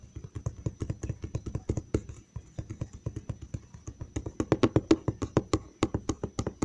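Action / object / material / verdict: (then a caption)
tap / large cardboard box side panel / cardboard / none. Fingertips and nails tap quickly on the side panel of a large, hollow brown cardboard box. It makes a steady stream of short, dull, hollow knocks with very little ring, plus faint clicky edges from the nails. The taps grow louder and sharper in the second half.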